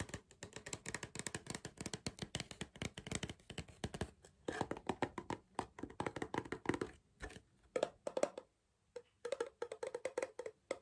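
Fingers tap and knock on a cardboard crisp tube, producing quick, dry, hollow taps with a mid-range tone and almost no ring. The tapping runs in fast, uneven bursts, briefly pauses near the end, then resumes.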